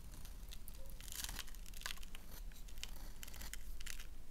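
A solid black bar of soap held in the hand is scraped and carved with a gold knife blade, curling off white soap shavings. Bright, crinkly scraping strokes come in uneven bursts over a steady low hum.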